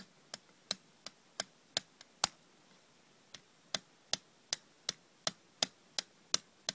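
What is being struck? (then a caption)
Small hinged aluminium tin. Long red nails tap the lid edge and the inside of a small, hollow, hinged aluminium cough drop tin, which is opened near the end. Sixteen sharp, bright, dry clicks come at an uneven pace with almost no ring, pausing briefly about a third of the way through.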